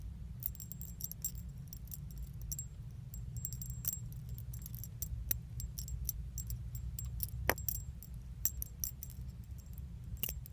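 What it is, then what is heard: Metal leaf charms on a chain. Small solid metal leaf charms with a pink, iridescent finish on a thin metal chain are held close by the fingertips and shaken. The leaves and chain give off a continuous stream of bright, short jingling clinks over a steady low rumble.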